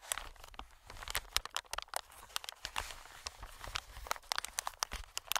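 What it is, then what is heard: Plastic air pillow. Fingertips tap, scratch and squeeze an inflated, medium green plastic-film air cushion. The result is a rapid run of dry, bright crinkling taps and scratchy rustles that stop almost instantly, with little low end.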